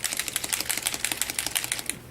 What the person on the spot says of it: you should be able to hear that ball and it's got that ball in all of them and it's mixing up the pigment so you get even distribution